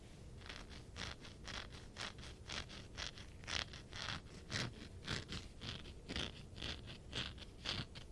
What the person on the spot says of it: This one definitely has a very different sound because of the texture.